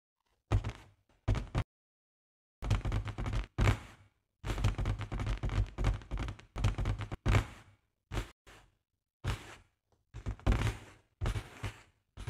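Long nails tap and scratch the top of a large, hollow, inflated pink latex balloon. The result is bursts of deep, booming thumps with quick scraping rustles, separated by brief silences.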